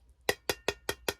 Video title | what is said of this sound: Candle Supply Haul - rebranding my candle business, new fragrance oils, finding jar suppliers | it sounds like a very thin metal